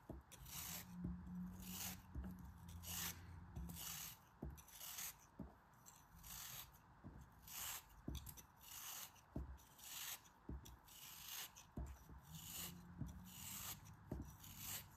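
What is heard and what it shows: A small, solid pink block of kinetic sand held in the hand is shaved and cut with a metal utility knife blade. Repeated bright, gritty scraping strokes come in quick bursts, each with a soft low thud beneath, as the sand crumbles away.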